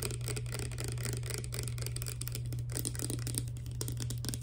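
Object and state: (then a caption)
Plastic pump bottle. Long dark nails on both hands tap rapidly on a small, clear, hollow plastic Fructis hair serum pump bottle holding clear liquid. The result is a dense, continuous stream of quick, bright clicks and ticks over a steady low hum.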